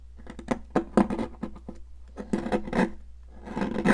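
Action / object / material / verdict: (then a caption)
scrape / stick of sidewalk chalk / chalk / none. A metal palette knife scrapes a solid, pink, popsicle-shaped piece of sidewalk chalk held in a hand with long nails. It makes a series of short, dry, gritty scrapes and crunches that die off almost at once, in two busy bursts separated by a brief pause. A steady low hum runs underneath.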